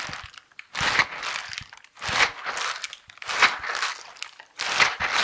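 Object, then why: Silicone scrubber gloves with bristle pads. Silicone dishwashing gloves with bristle pads are worn on both hands as the hands rub together and the fingers interlock. The bristles scrape in four bright, crinkly bursts about a second long, separated by short quieter gaps.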